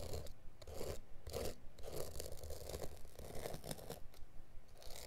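A hand presses a blade into the woven, felt-like carpet backing near a corner of a mat and scrapes it along the edge, scoring it. Short, rough scraping strokes repeat at an uneven pace, each a dull, crunchy rasp with a low thudding body and almost no ring.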